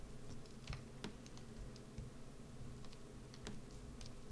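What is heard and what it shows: A wood-handled metal carving gouge carves and scrapes a solid rectangular green bar of soap held flat on a dark mat. Soft, crisp clicks and short scraping ticks sound over a steady low rumble. Soap shavings pile up on top of the bar.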